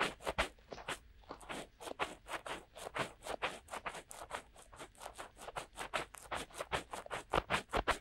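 Fingertips of both hands rub and scratch inside the soft, hollow silicone ear cups of a binaural microphone to mimic ear cleaning. About 25 quick, uneven scratchy strokes come in a steady flurry. Each is close, crackly and brushy with a bright, hissy top, and all are played at a quiet level.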